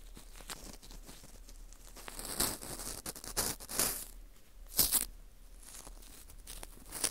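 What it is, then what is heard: Dried wheat gluten ring (fu), dry and porous. A cotton swab rubs and scrapes inside the hole of a small, hollow ring of dry, porous baked wheat gluten (fu) held in a gloved hand. Soft, uneven, bright scratching and crinkly rustles rise into louder scrapes, with sharper bursts near the middle and end.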